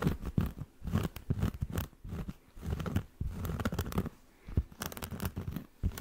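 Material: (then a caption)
Cork. Fingernails scratch the edge and then the face of a solid round cork coaster, held first edge-on and then face-on. Quick, dry, crunchy scratching comes in uneven bursts with brief pauses, mostly dull and low-toned with little brightness and short, clipped grains that die away almost at once.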